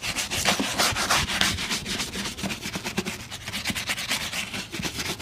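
A brown leather boot is brushed along the toe with a wooden-handled bristle brush. Quick back-and-forth strokes make a steady, bright, hissy scratching that swells and fades with each pass.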